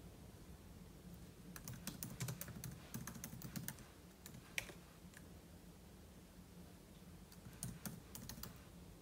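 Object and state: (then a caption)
Laptop keyboard typing. Fingertips type continuously on the plastic keys of a silver aluminum laptop keyboard, producing quiet, short, bright clicks in uneven bursts. The typing thins out in the middle before a final cluster of taps. A steady low hum sits underneath throughout.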